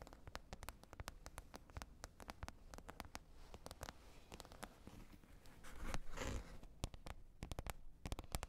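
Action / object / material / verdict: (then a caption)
tap / plastic container lid / plastic / none. Long red nails tap and scratch a green plastic container lid. Rapid, irregular sharp clicks with bright edges ride over soft scratching and a low rumble, with a louder burst of scraping about two-thirds of the way through.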